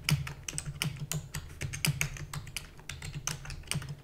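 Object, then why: Plastic computer keyboard. Rapid typing with fingertips and long natural nails on a full-size black plastic computer keyboard with plastic keys and a hollow housing. It makes a quick stream of sharp, bright clicks and clacks, with a steady low hum underneath.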